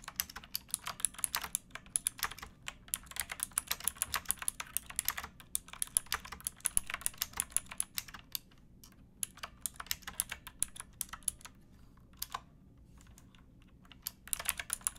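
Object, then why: Plastic mechanical keyboard. Fingertips with painted nails type on a pink backlit plastic mechanical keyboard with round keycaps and a hollow case, resting on a wooden box. Quick, bright, crisp clicks come in steady bursts, with short lulls near the middle and a quieter stretch before the typing picks up again at the end.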